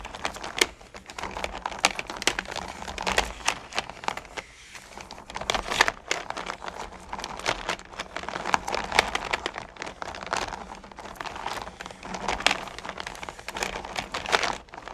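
A hand with long painted nails rakes across and stirs small, solid candy corn pumpkins in a purple plastic bucket. The candies produce a continuous stream of dense, bright clicking and rattling with a crinkly texture. The sound briefly quiets around the middle before the stirring picks up again.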